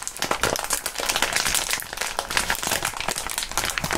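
Clear plastic bubble wrap is bunched and crumpled between both gloved hands. Heard is a steady, dense crinkling, packed with sharp, bright crackles and small pops that stay busy from start to finish with little low end.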